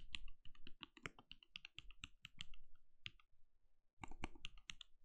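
Fingertips of both hands type rapidly on a compact backlit mechanical keyboard with plastic keycaps and a translucent glowing case. Quick, dry key taps land in a steady stream, each pairing a deep thock with a bright click. There is a brief pause before a final flurry of strokes.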